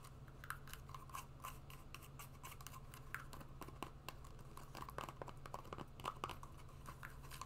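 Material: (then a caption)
Suede. A hollow, empty brown suede wedge shoe is held upright while long nails scratch and tap along its suede side. Quiet dry scratching runs throughout, broken by many short, sharp taps with a bright click near 1.2 kHz over a low steady hum.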